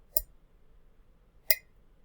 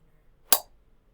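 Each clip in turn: First: ceramic mug. Second: small metal jello mold.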